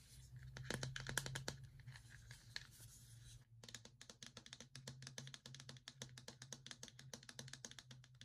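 A medium-size pink plastic tub with a white plastic lid, hollow and probably filled with powder, is held and tapped and scratched with fingernails. Many rapid, short, crisp clicks and scratches come in an irregular stream, with a faint low hum underneath.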